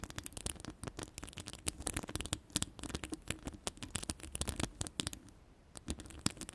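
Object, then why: Woven metal microphone mesh grille. Long pastel ombre acrylic nails scratch and tap on the round, hollow, woven metal mesh grille of an uncovered microphone. The result is a dense stream of sharp, dry clicks and scratchy rasps with very short decay over a low rumble, with a brief quieter stretch before the taps pick up again near the end.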